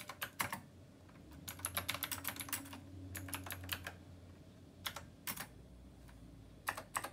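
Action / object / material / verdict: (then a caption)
tap / plastic mechanical keyboard with round metal keycaps / plastic / none. A black plastic Rymek retro mechanical keyboard with round copper keycaps is typed on with the fingertips of both hands. Bright, sharp clicky keystrokes come in quick bursts separated by short pauses, over a faint low hum.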